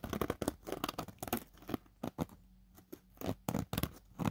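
Fingertips and nails scratch and rub across a fine black nylon mesh pocket inside an open drone carry case, with a paper card behind it. The result is a series of short, dry, raspy scratching bursts separated by quiet gaps, over a faint steady low hum.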